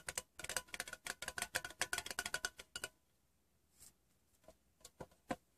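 Fingertips and short nails tap the bottom of a small, hollow, rectangular metal Wrigley's chewing gum tin turned upside down on fabric. A fast, even run of bright, dry clicking taps lasts about three seconds, with a faint hollow tone near 720 Hz and almost no ring. After a short silence come a few sparser, softer taps, ending on one sharper, louder tap, for 22 taps in all.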